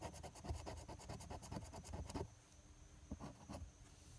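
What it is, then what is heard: Scratch-off lottery ticket being scratched with a coin. A thin, flat paper NY Lottery $2 "WIN" scratch-off ticket lying on a patterned surface has its silver latex coating scratched off with the edge of a metal coin held in the fingers. Rapid, gritty scraping strokes run for about two seconds, with a low, thumpy body and bright crackle. The sound then drops to a quiet hiss, broken by two brief isolated scrapes.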